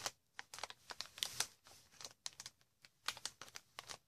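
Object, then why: Plastic air-pillow packaging film. A large sheet of hollow, air-filled green plastic air-cushion packaging film is squeezed and scratched with long red-painted nails. The result is a quiet run of sharp, bright crinkles and clicks with a high, papery texture, each dying away almost instantly, with brief silent gaps between the bursts.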